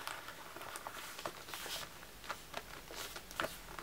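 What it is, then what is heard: Notebook cover with plastic sequin discs. Fingertips and nails tap and scratch a medium black notebook cover decorated with colorful glossy round plastic sequin disc stickers. Quiet, irregular clicky taps with bright scratchy rustles between them, each tap dying away almost at once.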